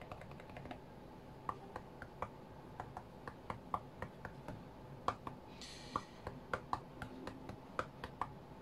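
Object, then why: Glass tablet touchscreen. Fingertips and nails tap quickly and irregularly on the glass touchscreen of an iPad tablet lying flat on a cutting mat. Each tap is a short, dry click centered near 1.1 kHz that dies away almost instantly over a soft low background. A brief bright hiss rises for about half a second near the six-second mark.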